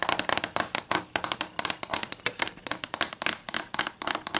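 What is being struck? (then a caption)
Wooden ruler. Long green nails tap and scratch along a long, thin, solid wooden ruler with printed protractor markings lying flat on a white table. About 28 quick, dry, bright taps come in an uneven run, with scratchy rasps between them. Each tap dies almost instantly and carries little low end.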